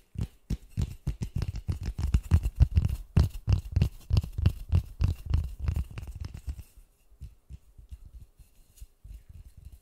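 Fingertips in white gloves rapidly tap and scratch a large white polystyrene foam ball held close to the mic. The taps are dull, low, short thuds with scratchy bursts between them. They stay dense and strong for about seven seconds, then turn softer and sparser.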